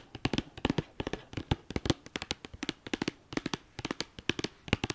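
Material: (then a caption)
Cardboard. Long dark-painted nails tap and scratch the top of a hollow, flat white cardboard sleeve with a red star logo, wrapped around an eyeshadow palette and lying on a fleece blanket. Around thirty quick, dry taps come in irregular clusters, each a short hollow knock with a bright papery click that dies away almost at once, with faint scratching between them.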